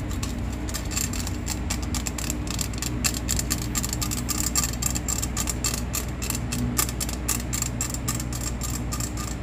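A hollow stainless steel box grater with a perforated flat face is held upright in the hands while long painted nails scratch and tap rapidly across its raised grating holes. Fast, bright metallic ticks and scrapes run throughout, each dying away almost at once, over a steady low rumble.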